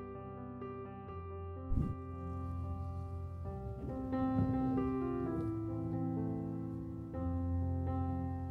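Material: Nothing is struck.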